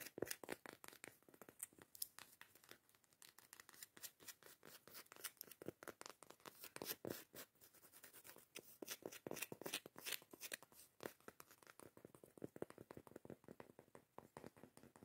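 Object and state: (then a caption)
Cork coaster lid. Long acrylic nails scratch and tap the face and edge of a round, thick cork coaster lid. Rapid, dense clicks and dry scratching crackle close and quiet, with bright, papery texture and no ring after each tap.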